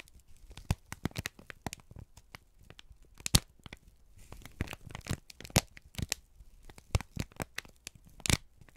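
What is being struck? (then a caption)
Kraft paper sheet. A folded, crinkled sheet of brown kraft paper is held in both hands and squeezed and crumpled with the fingertips. Irregular bursts of dry crinkling and sharp tearing-like crackles are heard, with bright snaps standing out over a low rustle.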